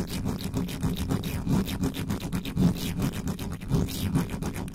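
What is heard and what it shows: Both hands cup the bare metal mesh grille of a black microphone with a hollow head and scratch it with the fingertips and the tops of long nails. The result is a dense, rapid, irregular scratching dominated by a boomy low rumble around 170 Hz, with faint bright streaks above. The level stays fairly steady throughout, with slight surges.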